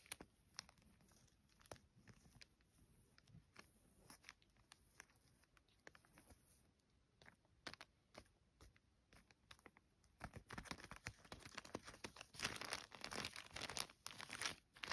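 Fingertips and long nails trace and scratch across a thin, flat-folded yellow polka-dot paper gift bag with a round sticker, with light tapping. Soft, dry, bright scratches and crinkly taps come in an irregular scatter, growing denser and louder in the last third.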